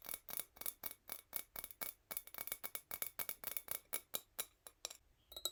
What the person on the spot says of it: The sound is pretty bright